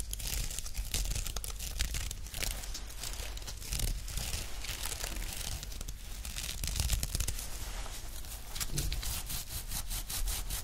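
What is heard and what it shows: A grey woven nylon watch strap is bent in the hands while its textured fabric is scratched with long nails. The result is a dense, continuous scratchy rasp with crinkly, tearing-like texture and bright hiss over a low handling rumble, swelling and easing in waves throughout.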